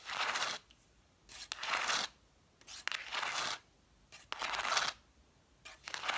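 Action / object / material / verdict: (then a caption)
scrape / stack of cloth-bound hardcover books / cloth, paper / none. Long nails scratch and tap the cloth-covered spines of a solid stack of red vintage hardcover books, spines facing forward. Five bright, raspy scratching bursts, each under a second, alternate with near-silent pauses. Most bursts begin with a short tap.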